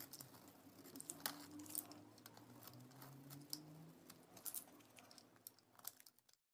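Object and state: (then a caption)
Bar soap being shaved. A solid orange bar of soap with a pink interior is held in the hand while a utility knife blade shaves its face into crumbly shavings. The quiet scraping and cutting comes as a steady run of short, crisp, bright crackles over a low hum. The sound cuts to silence near the end.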